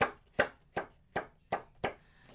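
A sheet of newly bought cardstock is flicked six times, each flick a short, dry, papery snap with a quick midrange tick. It sounds about the same as the usual cardstock but is the tiniest bit lighter or thinner.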